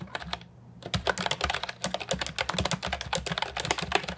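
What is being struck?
Plastic keyboard with round keycaps.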